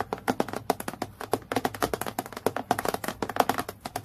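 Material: Acrylic plastic.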